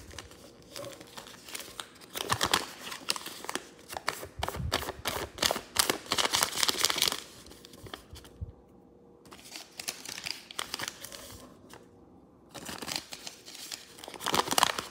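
A green-and-white folded paper piece, an origami crane base, lies on a wooden table while its flaps are lifted and creased with fingertips and nails. Bright, crisp paper crinkling and rubbing come in dense bursts, with brief quiet pauses near the middle and just before the louder final stretch.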